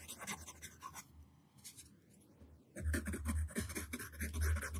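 A yellow wooden pencil tip scribbles zigzag strokes across a flat white paper sheet resting on a table. Soft, uneven scratching strokes turn quieter for a moment, then return louder and denser with a low rumble beneath the dry, bright graphite rasps.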